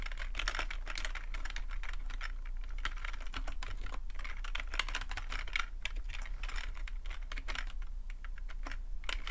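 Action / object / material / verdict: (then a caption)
tap / plastic computer keyboard / plastic / none. Fingertips type steadily on a black full-size plastic computer keyboard resting on a rug, producing a continuous stream of short, dry clicks and clacks centred around 2 kHz. A steady low hum sits underneath the typing throughout.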